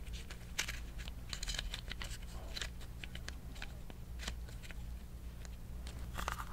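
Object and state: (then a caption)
Plastic tape dispenser. Fingernails tap and scratch the shell of a small green plastic tape dispenser with a tape roll inside, held in both hands. Quick, bright clicks and dry scratching rasps come in a busy, irregular stream, with a steady low hum underneath throughout.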